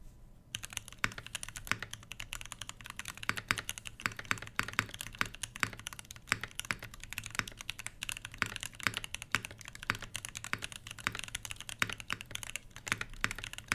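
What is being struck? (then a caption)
Mechanical keyboard with plastic keycaps and brass plate. A full-size mechanical keyboard with PBT/ABS plastic keycaps over a brass plate, lubed switches and a solid body, resting on a fabric desk mat, is typed on rapidly with the fingertips of both hands. A steady stream of short, bright clacks with a soft low thud beneath follows from a brief quiet start, each keystroke dying away almost instantly.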